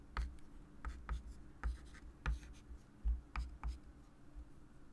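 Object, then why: Chalk stick on a wooden-framed chalkboard. A hand writes numbers and draws lines with a white chalk stick on a small, solid, wood-framed flat chalkboard lying on a table. About eight short, sharp chalk taps stand out, each with a low thud and a brief bright scratch. Softer, dry scratching fills the gaps between them.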